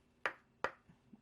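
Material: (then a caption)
Wood. Two sharp knocks on the wooden back of a Brush King wave brush, each a bright, short, clean tap with little low end and almost no ring. The crisp sound marks solid, quality wood, unlike brushes that sound bad when knocked.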